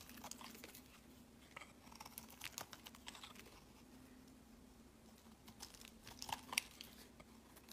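A solid light-green bar of soap is held in the hand and shaved with a utility-knife blade, the shavings piling up on a mat. Quiet, bright, crisp scraping and crinkling cuts come in irregular bursts over a faint low steady hum, with a few sharper clicks near the end.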